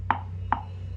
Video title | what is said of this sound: ठाकुर जी का सिंहासन 😳 - krishna lovers ❣️ | आवाज जो आती है लकड़ी की उससे पता चल जाता है कि क्या क्वालिटी है।